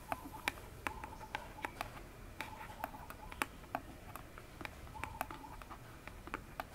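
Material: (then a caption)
Cardboard. Long fingernails tap quickly on the front face of an upright, hollow orange cardboard phone box. The result is a quick, uneven series of sharp, dry clicks with a hollow knock near 860 Hz and bright nail ticks. Each tap dies away almost instantly over a faint background hiss.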